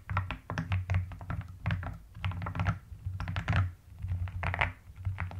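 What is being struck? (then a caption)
Plastic mechanical keyboard. A full-size mechanical keyboard with rounded pastel purple and white plastic keycaps in a white plastic case is typed on rapidly with long nails and fingertips of both hands. Dense, uneven bursts of soft, deep thocky key presses are heard, with brighter clicks on top and a low hum underneath.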